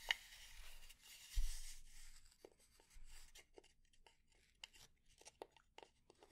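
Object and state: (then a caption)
Wooden spatula. A fingernail taps and scratches on the head of a solid, light wooden spatula held in the hand. The first two seconds are a soft, dry, broadband scratching rasp. After that come sharp, brief wooden taps that stop almost instantly, spaced out with quiet between them.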